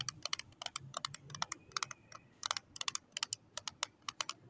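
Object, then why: Small plastic storage case holding lip tints. Long acrylic nails tap rapidly on the lid of a small, closed pink plastic storage case holding lip tints, hollow and filled, as it lies on cloth. About 25 quick, bright, dry clicks come in uneven bursts, each stopping at once with no ring. The result sounds like soft, fast keyboard typing at a quiet level.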